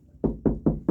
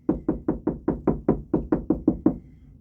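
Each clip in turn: First: Four low, boomy knuckle knocks on drywall, each a brief hollow thud that marks an empty cavity between studs. Second: Twelve dull knuckle knocks on drywall, mid-low and short, firming up where the board sits on a stud.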